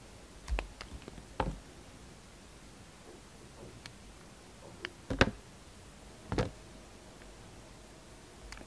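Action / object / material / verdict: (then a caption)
scrape / bar of soap cut with a knife blade / soap / none. A utility knife blade cuts thin slices off a hand-sized, solid turquoise green bar soap block that has been faceted by carving. Quiet, crisp clicks and short scraping snaps come in scattered bursts, each dying away almost instantly against a near-silent background.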